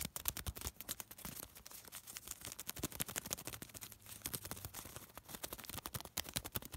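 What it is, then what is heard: Crumpled thin paper. A small crumpled piece of thin white paper is folded and crinkled between fingertips, giving a quiet, dense stream of sharp, bright crackles and rustles. The snaps come in quick, uneven bursts with brief softer rustling gaps throughout.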